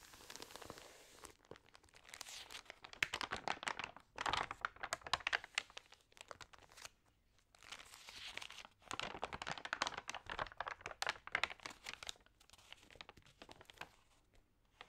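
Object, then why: Thin paper magazine pages. Long-nailed fingers rub and turn the damp pages of an open, water-sprayed thin paper magazine. Soft, bright crinkling and rustling come in dense bursts, with brief quiet pauses between page handlings.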